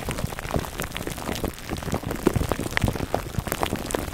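Fingertips scratch the top of a foam microphone cover wrapped in clear plastic film, giving a dense, steady stream of soft crackling crinkles. The sound is weighted toward the low end, with brief sharper pops scattered throughout and no pause.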